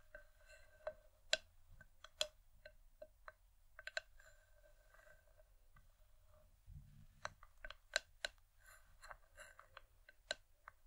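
Long nails tap and grip the outer side wall of an empty, hollow wooden bowl. The result is a scattered run of sharp, bright clicks with a short woody ring near 625 Hz over a faint low hum.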